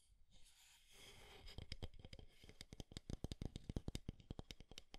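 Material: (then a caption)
Wood. A small square light wooden alarm clock with a round face is held in both hands while fingertips and nails tap and scratch along its wooden frame edges. A soft scratchy rustle opens the clip, then gives way to a quick, uneven run of dull, close taps.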